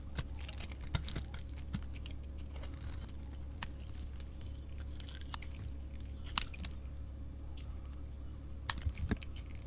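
A chunky solid bar of soap with a glitter coating, held in a hand with painted nails, is shaved with a utility knife blade. Soft, crackly scraping runs throughout, broken by sharp, bright crunches and clicks as the blade bites into the soap. A steady low hum sits underneath.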